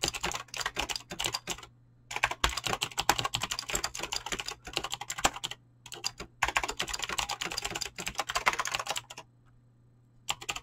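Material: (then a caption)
Plastic. Fast typing with fingertips and short nails on a full-size mechanical keyboard with Razer clicky green switches and dyed PBT plastic keycaps, resting on a desk. It produces rapid bursts of bright, crisp clicks and clacks, broken by brief pauses, over a faint steady low hum.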